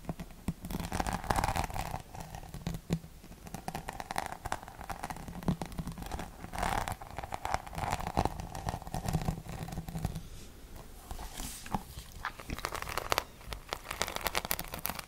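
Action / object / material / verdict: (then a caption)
scrape / rhinestone-studded plastic paddle hairbrush / plastic / none. Long nails tap and scratch across the rhinestone-studded back of a hollow plastic paddle hairbrush. Dense, quick clicking and gritty scraping continue throughout, with a faint hollow resonance under the sharp ticks.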